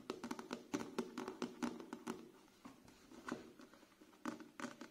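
A thick, solid paperback book with a paper cover and pages is held in both hands while fingertips and nails tap on its page edges and cover. About nineteen quick, irregular, dry taps sound with a soft midrange thud and little ring, coming in loose clusters with quieter gaps between.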